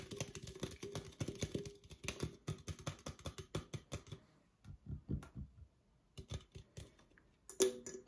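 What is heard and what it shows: Long acrylic nails rapidly tap an opened, hollow red Coca-Cola aluminum can while it is moved toward and away from the camera. The quick, clicky taps carry a faint metallic ring around 380 Hz, pausing briefly before resuming.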